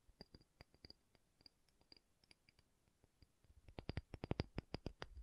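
A pumice stone is tapped in an irregular run of short, dry clicks, with a faint bright tick on each hit over a soft low thump. The taps start quiet and sparse, then grow louder and denser in the last second and a half.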